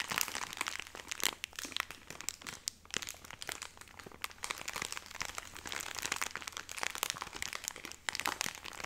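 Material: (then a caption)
Plastic film. A full, hand-length cylindrical pack of Cotoneve cotton pads in soft plastic film, its top apparently opened, is held in both hands and squeezed and scratched with long painted nails. Dense, bright crinkling and crackling continues throughout with quick crisp snaps and almost no low end, each sharp tick dying away instantly.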